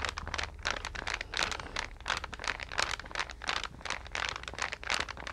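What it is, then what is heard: Card-covered paper sketch pad, scratched and flexed. A green card-covered paper sketch pad is held in both hands, bent and flexed while long nails scratch and rub its glossy cover. The result is a steady stream of bright, crinkly scratching and rustling bursts over a faint low hum.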